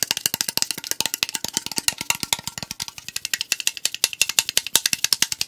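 A tall AriZona aluminum tea can is tapped rapidly with fingertips and nails on its side and lid. The result is a dense stream of about 50 short, dry, bright metallic clicks, each dying away almost instantly, with almost no low end.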